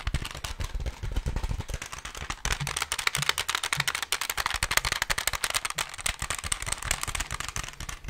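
A plastic desk calculator held close to the mic is tapped rapidly by fingertips and nails on its keys and back. The result is a dense, steady stream of short, dry, bright clicks and taps with almost no ring, plus soft low thumps.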